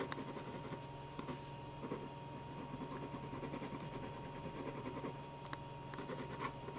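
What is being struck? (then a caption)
Ballpoint pen on paper sheets. A black ballpoint pen scratches short strokes on a stack of white paper sheets resting on a table while drawing eyes and eyebrows. Quiet, dry scratching ticks come in quick bursts, with a few sharper, brighter strokes standing out. A steady low hum and a faint constant tone run underneath throughout.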